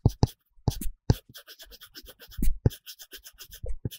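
A plastic stylus tip rubs and scratches quickly back and forth across an iPad screen covered with a matte paper-texture film while coloring. Dense scribbling strokes come as a rapid run of short, dry scratches and taps, with a few stronger low thumps mixed among faint high hiss.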